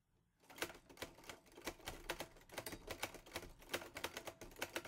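Fingertips type on the keys of a teal metal portable Olivetti Lettera 22 typewriter. After a brief quiet moment, a steady run of sharp, bright metallic clacks follows, each one short and dry with almost no ring.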